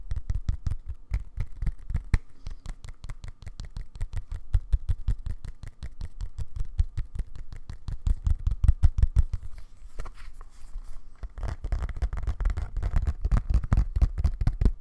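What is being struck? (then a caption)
Leather-covered keyboard. Fingertips and nails tap rapidly on the leather back of a thin, flat, black, tablet-sized Bluetooth keyboard held up in both hands. The taps are soft, dull and low-pitched with almost no ring, coming in a fast steady patter. Near the end they turn into a denser, scratchier tapping.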